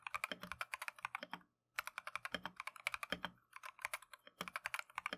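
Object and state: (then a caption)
Plastic mechanical keyboard being typed on. Gloved fingertips type continuously on a plastic Keychron V1 mechanical keyboard with Tangerine switches and green/cream PBT Matcha keycaps. About 40 quick, bright, clacky keystrokes come in bursts with short pauses, each dying away almost at once with little low end.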